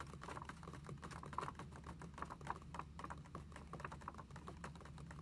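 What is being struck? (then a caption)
Paper notebook pages tapped with fingernails. Long acrylic nails tap rapidly on the pages of an open lined paper notebook lying flat on a table. The result is a quick, steady patter of light, dry clicks with a papery tone over a faint low hum, each tap dying away almost instantly.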